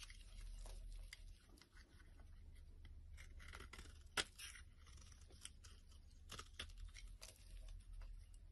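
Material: Soap.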